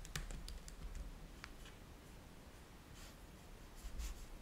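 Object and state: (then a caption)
Laptop keyboard with plastic keys. Both hands tap with their fingertips on a black laptop keyboard with plastic chiclet keys, resting on a white table. The result is a quiet run of soft, short clicks with brief bright ticks and a low, dull thump beneath. The taps are scattered and uneven, with a quieter stretch in the middle.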